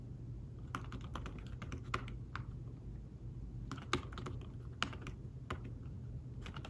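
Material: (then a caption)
Fabric. Fingertips type and tap on a thin folio tablet keyboard with fabric-covered keys, producing soft, short clicks in uneven bursts with brief pauses between runs. The taps are muted and quick, with only a little brightness, over a steady low background hum.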